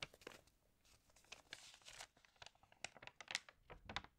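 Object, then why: Glossy paper magazine. Fingertips rub and turn the thin pages of an open, water-damaged glossy-paper magazine. Soft, irregular rustles and crinkles are broken by short, bright crackles and brief tearing sounds. The sound stays quiet, with each crackle dying away almost instantly.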